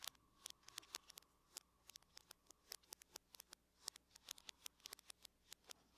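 Long fingernails on the fingertips of both hands tap on the lid of a closed silver aluminum laptop. About thirty quick, bright, dry clicks come in an irregular patter, each one dying away almost instantly. The taps are quiet over a faint, steady low hum.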